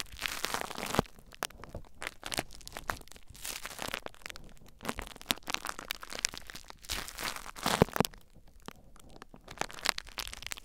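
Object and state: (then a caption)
Plastic bubble wrap being scratched and crinkled. Fingertips and nails lightly scratch and crinkle clear plastic bubble wrap mounded over a recorder. Bright, crackling rustles come in uneven bursts, with sharper snapping clicks scattered between quieter stretches.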